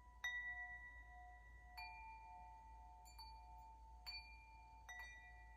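Long hollow metal wind chime tubes, held up by the top, are tapped by hand and struck by the swung clapper, giving five bright ringing hits. Each strike rings out in clear, sustained metallic tones around 2 kHz that overlap and slowly fade, over a faint low background hum.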